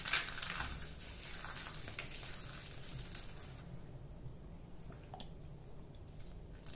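A small, solid yellow ball of dry bar soap with gold glitter flakes is held in both hands over a pile of soap crumbs and squeezed and crushed with the fingertips. Dense, bright, crackling crunches are heard, loudest in the first few seconds, then thinning into softer, scattered crackles as the soap crumbles apart.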